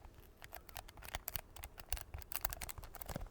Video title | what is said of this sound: [ASMR] MERRY CHRISTMAS! | this sounds really good to tap on because of the texture. Can you hear that little sticky tapping?